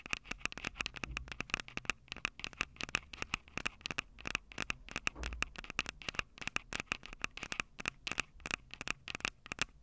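Long purple nails rapidly tap and scratch the metal mic capsule heads of a small Tascam DR-05 handheld recorder, which has a plastic body and two metal capsules. The result is a dense run of sharp, dry clicks and scratchy crackles with almost no ring, bright and high with a steady tone near 2.7 kHz, over faint low thumps.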